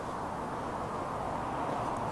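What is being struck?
Nothing is struck.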